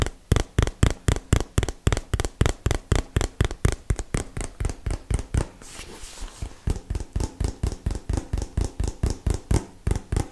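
A small, hollow printed cardboard product box, held in one hand, is tapped steadily with fingertips and nails at about four taps per second. The taps are dull, low thuds with almost no ring. Around the middle the taps soften into a brief scratchy rustle, then the regular tapping resumes.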